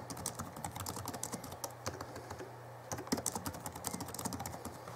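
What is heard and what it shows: Fingertips of both hands type on the backlit plastic keys of a small Alienware M11x2 (2011) laptop keyboard, producing a rapid, continuous patter of light, crisp clicks. The typing thins briefly near the middle before resuming, over a steady low hum.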